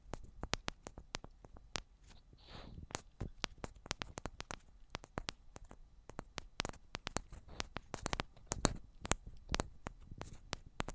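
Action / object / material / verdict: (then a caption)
tap / metal microphone body / metal / none. Long black nails tap the tops and sides of two identical silver metal cylindrical microphones, giving rapid, irregular, sharp clicks that die away almost at once. Each tap pairs a low thump with a bright, crisp tick, over a quiet background with a brief soft hiss partway through.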